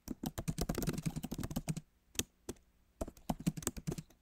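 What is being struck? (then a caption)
Laptop keyboard, plastic keys in aluminium body. Fingertips of both hands type on the solid, backlit keyboard of a MacBook Pro, its plastic keys set in an aluminum body. A fast, dense run of soft, low, dull key taps lasts almost two seconds, followed by a quiet pause broken by two lone clicks, then another quick burst. Each tap is short and dry, with almost no ring.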